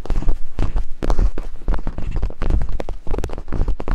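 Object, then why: Silicone binaural microphone ears tapped with wooden picks. Two wooden picks tap and scrape rhythmically over silicone binaural microphone ears. The result is a fast, steady run of deep, muffled thumps, with nearly all the sound sitting low and dull and almost no bright edge.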